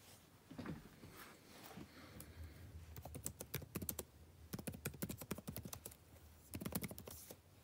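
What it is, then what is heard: Plastic laptop keyboard being typed on. Fingertips type on a backlit laptop keyboard with plastic keys set in a dark laptop body, producing quick, light clicky taps. The taps come in fast bursts separated by short pauses, each one short and dry with a soft low thud and a bright click on top.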